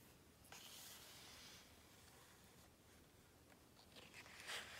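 Fingertips and a palm rub and tap across a glossy paper page of a large open hardcover book. A soft, bright, hissy rubbing continues throughout, with a sharper tap near the start and a louder one near the end.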